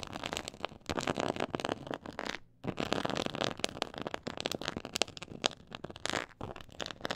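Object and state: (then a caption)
Textured faux leather board scratched with nails. Long nails scratch across a black pyramid-textured faux leather board, giving a dense, crackly rasp with bright, papery texture and rapid clicking bursts. The scratching continues almost nonstop, broken by one brief pause near the middle.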